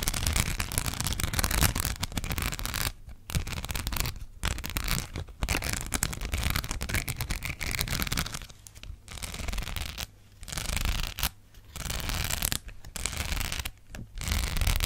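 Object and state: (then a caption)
Rhinestone sticker sheet. Long black acrylic nails scratch a flat, thin, hand-sized sheet of small gold rhinestones on a backing held close to the mic. The result is dense, rapid, crackly scratching with bright grit over a heavy low rumble, coming in bursts broken by brief quiet gaps.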